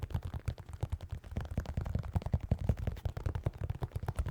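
A pair of white New Balance 608 sneakers with synthetic leather uppers and rubber soles is tapped in a quick, uneven run of soft, muffled taps. Each tap is a short, dull, low thud centered around 70 Hz with almost no bright content, dying away almost instantly.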